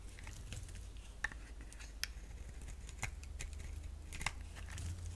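A hand-sized solid purple bar of soap, held in the hand, is scraped and cut with a utility blade while long-nailed fingertips touch its surface. Quiet, crisp scraping and cutting is broken by short, sharp clicks and ticks with a bright edge, over a steady low hum.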